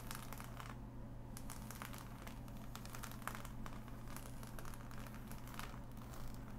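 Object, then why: Assembled cardboard jigsaw puzzle. Long nails tap and scratch across the glossy pieces of a flat, assembled cardboard jigsaw puzzle, making quick, dry, crackly bursts with a bright, papery edge. A steady low hum runs underneath the whole time.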